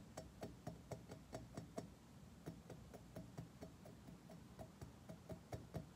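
A mirror-polished, curved chrome-plated metal object resting on carpet is tapped rapidly with the fingertips and short nails of several fingers. The result is a steady run of quiet, short, dull knocks with a low resonant body and a faint bright click on each hit, with a brief pause partway through.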